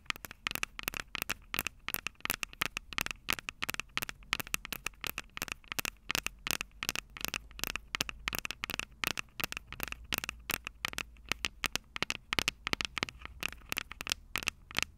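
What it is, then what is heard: Metal microphone capsules tapped with nails. Long purple nails on both hands rapidly tap and scratch the small metal X/Y microphone capsules on top of a plastic Tascam DR-05 recorder, the very mic doing the recording. The result is a dense stream of sharp, bright, crackling clicks with almost no ring, sitting over a low rumble throughout.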